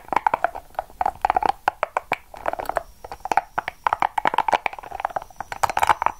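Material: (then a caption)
Rubber. A small, hollow, yellow-and-purple soft rubber spiky massage ball is held in the hand, squeezed and scratched with long acrylic nails. Quick, dry clicks and scratchy taps come in rapid uneven bursts, each with a mid-pitched hollow tone and almost no ring or low end.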